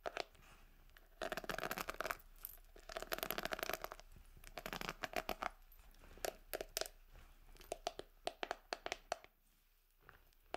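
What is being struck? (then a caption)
Plastic hairbrush bristles. Long acrylic nails scratch and flick the dense plastic bristles on the cushioned pad of a hand-sized red plastic paddle hairbrush with a gold-coloured handle, held close to the microphone. Dense bursts of bright, scratchy rustling give way to a run of sharp, separate flicks and clicks with almost no ring. The clip ends in a brief near-silent pause before a final few clicks.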